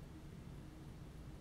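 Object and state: Nothing is struck.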